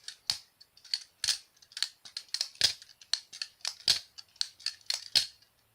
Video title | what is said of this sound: Jerry hom g10 basilisk r balisong ( butterfly knife ) | it sounds cheap and plasticky ... the Tang pins hit the g10 so I think it gives it a weird type of sound